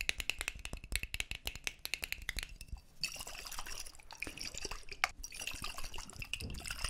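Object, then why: Small glass jar partly filled with water. A small, clear, hollow glass jar partly filled with water is held in both hands close to the microphones while fingertips tap and handle it. For the first three seconds, rapid, sharp taps ring out with a bright glassy ping around 2.2 kHz. The jar is then shaken, giving a hissy, bright rush of sloshing water mixed with scattered clinks.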